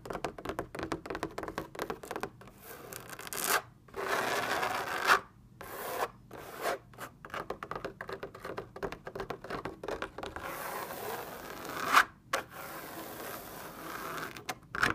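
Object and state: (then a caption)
Fabric lamp shade. Long red nails scratch and tap a large, lit, white linen-like fabric lamp shade that is hollow and taut. Quick, dry scratching strokes come in dense runs, with a few longer, brighter rubbing swells and occasional sharper taps. The sound is thin and papery, with almost no low end and no ring after each stroke.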